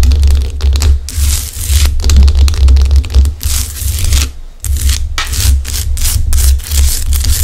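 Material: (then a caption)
Rock salt. Long acrylic nails scratch and tap over the craggy top of a large, solid pink Himalayan rock-salt lamp. Bursts of dry, bright scraping and crinkly clicking rise and fall over a steady low hum.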